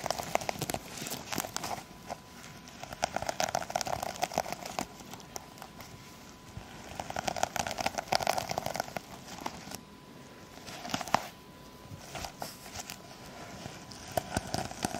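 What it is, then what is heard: Sequin fabric pouch scratched with long nails. Long acrylic nails on both hands scratch and rub over the plastic sequins of a sequin-covered fabric pouch, producing dry, crackling, crinkly rasps with sharp clicky ticks. The scratching comes in bursts separated by quieter pauses, and a faint steady tone hums near 1 kHz underneath.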